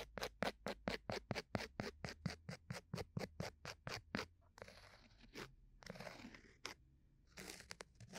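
A bamboo ear pick scratches a round, flat, solid cork coaster disc held at the right ear of a binaural microphone. A quick, fairly regular run of short, crisp scratches gives way to longer, softer, hissing scrapes with bright, high texture and some low rumble underneath.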